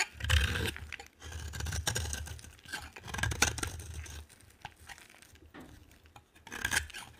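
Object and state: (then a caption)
Bar of dry soap being scraped. A solid green bar of dry soap, held by fingers with long painted nails, is scraped with a metal utility knife blade. The blade makes dry, rasping scrapes and crackling flakes, with a low rumble under bright, crisp texture that swells and fades across several strokes.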